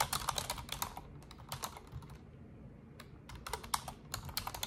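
Long orange nails and fingertips type in continuous key presses on an Asus desktop keyboard with black plastic keycaps and a silver frame. Quick, bright plastic clicks and taps come in dense bursts, with a brief lull in the middle before the fast typing resumes. Each click is short and dry, with almost no ring.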